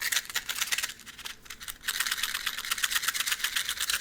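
A box of matches is shaken and handled, making a fast, loose rattle of crisp, bright clicks with almost no low end. The rattling softens briefly in the middle, then picks back up and continues steadily to the end.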